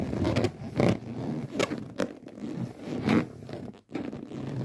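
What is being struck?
Inflated latex balloon.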